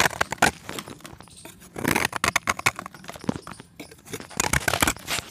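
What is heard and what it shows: A steel box-cutter blade scrapes a solid white pressed chalk disc, sending chips falling into the pan. It makes a run of dry, crisp scrapes and crunchy clicks with a bright edge, in short, quick bursts. The scraping grows denser in the middle and again near the end.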